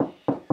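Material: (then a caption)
Plasterboard. Taps on a plasterboard-lined external wall, where the board is glued to the blockwork with drywall adhesive dabs, leaving a void behind. Each tap is a short, hollow, low-mid knock with a dull resonance around 270 Hz and almost no high end, dying away quickly before the next. The wall sounds hollow at this spot.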